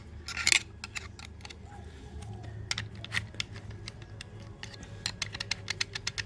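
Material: Steel.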